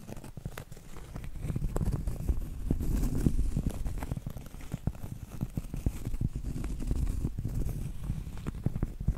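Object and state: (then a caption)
Cork trivet. Medium-length acrylic nails tap and scratch across a round, flat, solid cork trivet board. The sound is a steady run of soft, dull taps over a low, muffled scratching rustle, with almost no high brightness and no ring after each tap.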